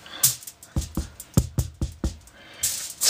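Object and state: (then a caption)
Baked-through bread loaf (hollow). A freshly baked whole-wheat and rye bread loaf, made from a pre-mix, is knocked on six times, giving short, dull, low thuds with almost no ring and a brief hiss before and after. The knocks sound hollow, showing the loaf is well baked through.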